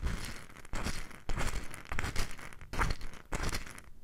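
A small, light wooden bowl full of loose mustard seeds is held in the hand close to the microphone and gently tilted and shaken, with long nails resting on the bowl's outer wall. The seeds shift and rattle in repeated bursts of dry, crinkly rustling, separated by brief quieter pauses.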